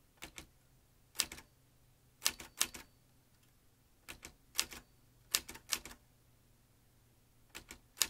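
Fingertips press the keys of a metal manual typewriter, which has typebars, a ribbon spool and paper loaded. About twenty sharp, bright clacks arrive in uneven bursts, each dying almost instantly, with little low end. Quiet pauses between bursts let a faint low hum through.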